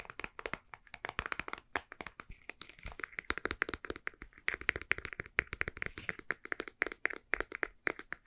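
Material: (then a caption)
Plastic. Long painted nails tap rapidly on a white, soft plastic cosmetic squeeze tube with a printed label and barcode, hollow and partly empty, while it is bent and squeezed. Dozens of quick, dry, bright clicks and crackles come in an uneven, fast rhythm, with a hollow plastic tone in the mids. Each tap stops dead with no ring.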